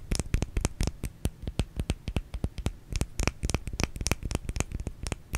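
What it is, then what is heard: Bar of soap. A small solid white bar of soap is turned in the hands and scratched and tapped with long nails on its flat and curved sides. The result is a rapid, irregular run of short, dry clicks and scratchy taps with a soft low thud under each and bright edges on top, each dying away almost at once.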